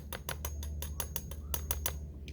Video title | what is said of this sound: Ms. Bernadette teaches with sand | that sounds hard see how it makes that sound